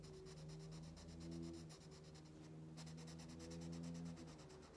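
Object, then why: Wax crayon on a paper coloring-book page. A pink wax crayon held in the fingers rubs back and forth across an open paper coloring book page lying flat on a solid wooden table, scratch-coloring a fish outline. Quick, bright, papery scratching strokes repeat steadily over a low, steady hum, with a brief pause in the middle before the scribbling resumes.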